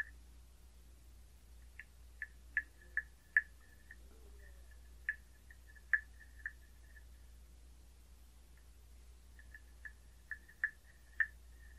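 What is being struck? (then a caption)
Carved hollow wooden frog tapped with a wooden stick. A wooden stick with a rounded tip taps and scrapes a hollow carved wooden frog guiro with an open mouth. About a dozen short, hollow wooden clicks ring at a bright pitch near 1.7 kHz and come in loose clusters with pauses between them. A steady low hum sits underneath.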